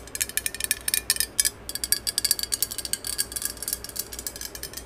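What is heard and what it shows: Long acrylic nails tap and scratch along the body of a hollow, green cylindrical metal aerosol spray can with a barcode label, held horizontally in both hands. About thirty quick, dry, bright clicks with almost no low end come in an uneven rapid patter, with a brief gap just past the middle.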